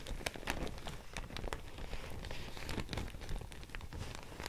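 A thin beige handmade paper sheet is held up and folded in both hands while long nails and fingertips crinkle, scratch and tap it. The result is a steady, dense crackling with many sharp, bright ticks over a heavy low rumble, much like rain pattering on a surface.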